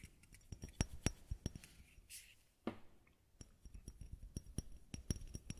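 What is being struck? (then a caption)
Small bottle. A small white bottle is tapped in a quick, irregular run of about fifteen short taps, each a dry click with a low thump and almost no ring. A soft hiss rises briefly near the middle before the tapping picks up again.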